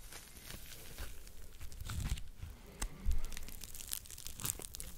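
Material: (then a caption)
Foam. A yellow and pink smiley-face foam scrub sponge is squeezed in a fist and scratched with fingertips close to the mic. It gives a continuous run of crinkling, tearing-like scratches over soft, low thumps and rumble, with a few louder crunchy bursts.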